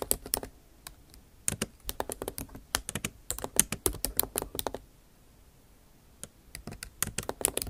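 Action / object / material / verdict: tap / laptop keyboard, plastic keys in aluminium body / plastic / none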